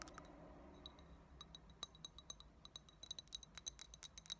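Long fingernails tap along the sides and rim of a small, empty, hollow clear glass tumbler with a thick tinted base. The result is a quick, uneven series of quiet, bright clinks with sharp high ringing tones that fade almost instantly, over a faint low hum.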